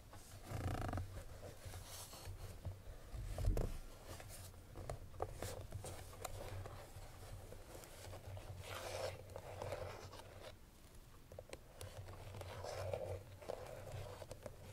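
Fingernails scratch and rub across the front face of a hollow cream paperboard Chloé perfume box with the bottle still inside. The result is a quiet, steady, papery scraping with a few brief louder scratches, all over a low, constant hum.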